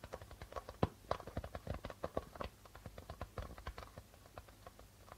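Fingertips rapidly tap the white plastic membrane of a hollow darbuka drum in an uneven, quick pattern. Each tap is short and dry with a low, hollow thump, and a few louder accents stand out among the softer strokes, all fading almost instantly.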